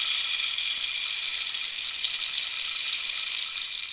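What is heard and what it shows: Long nails scratch the ridged surface of a hollow, dried cactus wood rainstick held diagonally. They make a steady, dense, bright scratching rasp with no low end. The texture stays even for the whole clip and tapers slightly at the very end.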